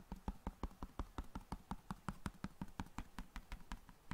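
A large, flat, hollow cardboard box of long matches is tapped rapidly with long nails and fingertips. About 23 quick, dull, hollow taps come in a loose rhythm of nearly three per second, each with a low thump and a brief bright click that dies away almost instantly.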